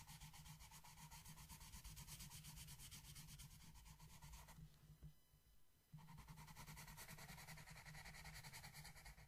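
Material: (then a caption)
Paper. A wooden yellow colored pencil held in the fingers scratches and rubs back and forth across the flat paper page of a dreamcatcher coloring book lying on a table. Rapid strokes come at about two per second with a bright, papery hiss over a low rumble. The strokes fade briefly in the middle, then resume at full strength.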